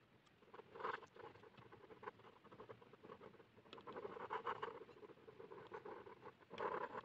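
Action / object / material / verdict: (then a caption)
scrape / plastic ballpoint pen on a paper sheet / paper / none. A blue plastic ballpoint pen is scratched across a flat white paper sheet lying on a hard surface, hatching fast strokes to draw the hair of a face. The sound is a quiet, dry, rapid scratching patter with a midrange rasp. It comes in denser, louder bursts near the start, through the middle and at the end.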